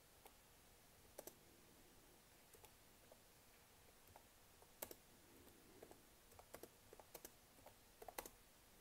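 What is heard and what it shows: Long manicured nails tap and click across the black plastic keys of a Lenovo laptop keyboard. Sharp, short clicks come in scattered single and double taps over a quiet, steady hiss.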